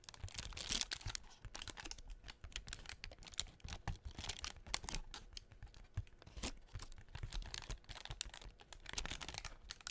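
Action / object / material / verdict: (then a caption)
scrape / tissue-paper honeycomb decoration on cardboard / tissue paper / none. Long nails tap and scratch the cells of a hollow blue tissue-paper honeycomb half-ball mounted on a cardboard doughnut cutout, held close to the mic. The result is a dense, quick run of dry crinkling taps and papery scratches, bright and crisp, over a soft low rumble.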